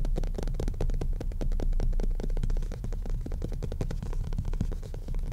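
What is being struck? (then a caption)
Cloth-covered hardcover book. A solid, maroon, cloth-covered hardcover book lies flat on a desk while its front cover is tapped and scratched quickly with the fingertips and nails of both hands. The result is a dense, irregular stream of short, muffled, low thuds that barely ring, mixed with soft scratching.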